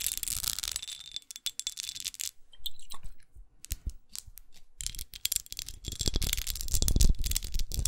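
Long acrylic nails tap and scratch across the surface of a small red glass perfume bottle studded with pyramids. Quick, irregular clicks mix with bright, gritty scratching, fading to sparse taps in the middle before building back into dense, rough scraping.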